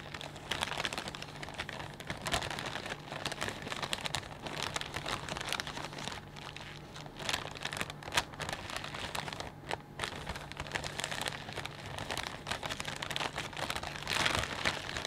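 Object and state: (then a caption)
Plastic bag of potato chips. A clear, thin, medium-size plastic bag full of potato chips is squeezed and crinkled with the fingertips while both hands press and rub it. The result is a dense, continuous, bright crinkling and crackling with quick, dry bursts over a faint steady low hum.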